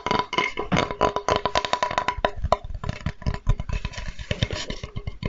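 A flat, light, solid wooden Spätzle board with engraved lettering is held upright and tapped with the fingertips. The result is a quick run of short, dry, hollow knocks with a deep thump, some hits landing in fast bursts and others more spaced out. Faint steady tones hum underneath.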